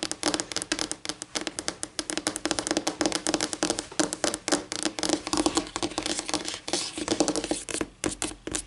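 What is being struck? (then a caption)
Laminate tabletop tapped and scratched with fingernails. Long painted nails scratch and rub across a flat, solid white laminate tabletop in rapid, crisp strokes and taps. The bright, dry clicks and scrapes die away almost instantly, with a steady low-mid tone running underneath throughout.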